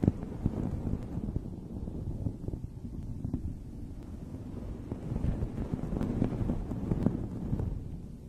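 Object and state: Fluffy fabric microphone cover being scratched.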